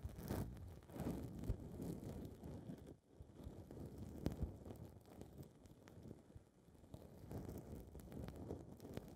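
Long red nails pinch, scratch and rub a small blue foam windscreen ball on a recorder's mic capsule. The result is a close, muffled, low rumbling rustle with dense crackly scratches, briefly dropping quiet around the three-second mark before the rubbing resumes.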